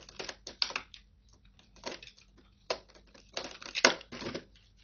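An old, solid, cracked, dry green soap block is sliced and scraped with a metal utility-knife blade over a plastic tray. Short, bright, crumbly crunching and crackling bursts come in uneven clusters, separated by brief quiet gaps.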